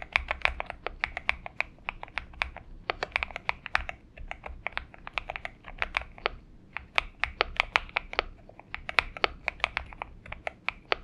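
Fingertips of both hands type continuously on a purple-backlit Xinmeng M71 70% mechanical keyboard with an aluminum case and PBT keycaps, resting on a desk mat. A steady, uneven stream of short, crisp clacks with a bright upper edge (centered around 2.3 kHz) and little low end. Each keystroke stops dead with no ring.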